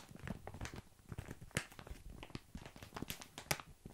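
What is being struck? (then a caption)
Plastic bag filled with tiny dry pasta. Fingers tap, scratch and rub the surface of a full plastic bag of tiny dry pasta held up close to the mic. Soft, quiet crinkling and rustling is broken by many short, crisp taps, with a few sharper, brighter clicks standing out. Each sound dies away almost at once.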